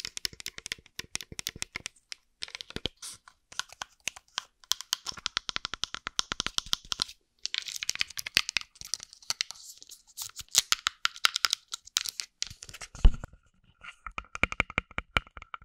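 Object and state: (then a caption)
Glass bottle tapped and scratched with nails. A small, hollow green glass bottle, partly filled with liquid and held in one hand, is tapped and scratched with long acrylic nails close to the microphone. Rapid, crisp clicks and bright scratchy rasps come in quick bursts with brief pauses, each tap dying away almost instantly.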